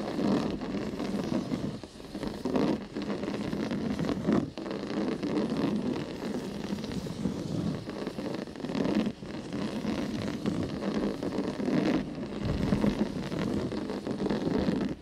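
Fingertips and nails scratch and tap the textured surface of a flat cream woven cotton rug with black dotted stripes, lying on carpet. The result is a steady, dense, dry rustling scratch, strongest in the low-mid range, with a few brief dips where the scratching pauses or shifts.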